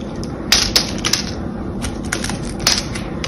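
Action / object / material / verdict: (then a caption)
scrape / bar of soap / soap / none. A blade carves and crushes small cubes out of the surface of a solid, palm-sized, cream-colored glycerine soap bar held in one hand. The result is a series of sharp, bright crunching snaps over a low, steady background hiss, each snap dying away quickly.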